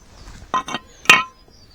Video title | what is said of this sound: Lifan King Chain and Sprockets Replacement Part 1. (The Strip down) | it sounds like plastic when it's on the bike but it's not